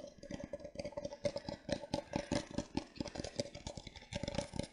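An empty disposable paper cup with a printed pattern is held upside down in both hands while fingertips and nails tap and scratch its base and sides. The result is a quick run of dry, hollow taps with a soft papery resonance around 570 Hz and faint bright scratching between them. Each tap dies out almost instantly.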